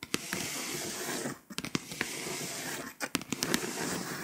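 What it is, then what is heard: Foil-coated scratch-off map being scratched. Long pointed acrylic nails tap and scratch the foil surface of a flat, foil-coated paper scratch-off map poster. A steady, bright, gritty scratching hiss runs throughout, punctuated by crisp, sharp nail taps. It pauses briefly twice before the scratching resumes.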